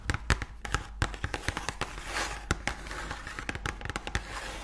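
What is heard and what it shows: Long nails rapidly tap and scratch the sides and front of a full cardboard Oreo cookie box held up close. Sharp, dry clicks land in quick irregular bursts with a faint crackly scratching between them, under a low steady hum.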